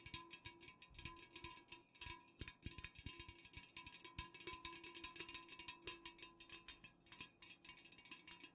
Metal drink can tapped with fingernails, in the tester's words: fast-ish nail tapping on unopened cans